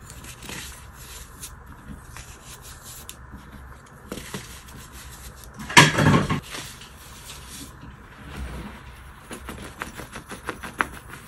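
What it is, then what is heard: Baking soda powder being crushed. Bare hands with short painted nails scoop, rub and squeeze handfuls of loose white baking soda powder from a large tray, crushing packed clumps between the palms. Soft, dry rubbing and gritty, bright crunching run throughout, with a louder burst of crushing near the middle and a quicker run of small crunches toward the end.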